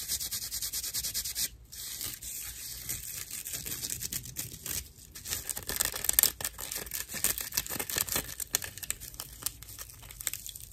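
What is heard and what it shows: A dry, hand-sized natural loofah sponge of fibrous plant material with hollow chambers inside is held in one hand and scratched and squeezed with long acrylic nails and fingertips. It makes dense, bright, rough scratching and crackling with rapid, short strokes, briefly dipping quieter near 1.6 and 5 seconds. The sound is mostly high and crisp, with little low end.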